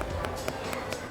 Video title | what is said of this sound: Berburu Sayur Murah Di Gudang Sayur - SECRET STORY (16/04/26) | kalau diketuk, nah agak nyaring suaranya